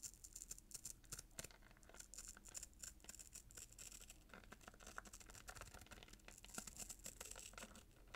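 Short fingernails scratch the gold glitter ribbon and red paper near the bow of a small paper-wrapped cardboard gift box. The result is a quiet, rapid run of crisp, bright scratches and rustles over a faint low hum.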